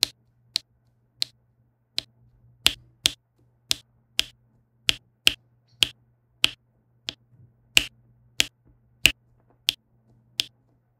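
A plastic diamond-painting pen with a pink wax tip taps small faceted resin drills onto a flat adhesive diamond-painting canvas, one quick tap per drill. Eighteen short, dry, bright clicks sound at a steady, unhurried pace, each dying away almost instantly, over a faint low hum.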